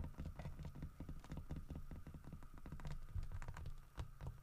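Fingernails rapidly tap and scratch across the grooved fur carving of a large, solid carved wooden bear statue. The result is a dense, continuous patter of short, dull, low-pitched knocks that die away almost instantly, mixed with soft scratchy rasps.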